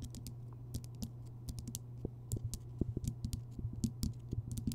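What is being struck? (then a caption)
Rock salt lamp. Long fingernails tap and scratch across the crystalline surface of a large, solid, rough-surfaced Himalayan rock salt lamp glowing orange from a bulb inside. Quick, dry clicking taps with crisp, bright ticks come in irregular bursts over a steady low hum around 90 Hz, growing busier and louder toward the end.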